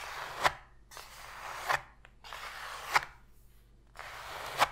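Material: Cardboard.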